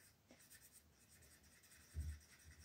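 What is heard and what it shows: A green colored pencil held in the fingertips scratches and rubs over a thin white paper mandala coloring sheet lying flat on a table, while the other hand holds the sheet still. Quiet, steady scratchy strokes fill the clip, with a brief low thump near the two-second mark.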